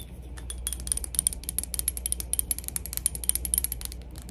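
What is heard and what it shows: A glass PacSun cologne bottle is tapped for ASMR in a quick, steady series of light taps. Each tap gives a short, bright, high clink that dies away almost instantly, over a constant low hum.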